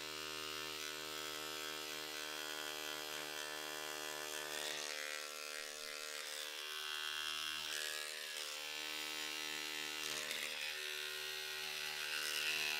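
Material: Nothing is struck.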